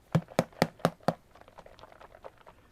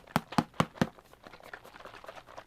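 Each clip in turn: First: ink bottle mixing ball loose. Second: ink bottle with mixing balls still stuck.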